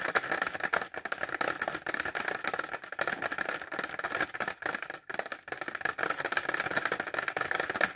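Short fingernails tap fast on a clear plastic pencil case filled with pencils, held upright. A dense, continuous stream of crisp, bright plastic clicks with slight rattle runs through the clip, centered in the upper midrange with almost no low end and very little ring after each tap.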